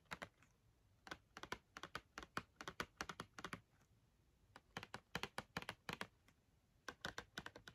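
Long red-painted nails tap rapidly on the front face of a small printed cardboard box of Crayola markers, filled with markers and held in one hand. The crisp, dry clicks come in three quick runs with short pauses between them, each tap dying away almost at once with a bright, papery edge.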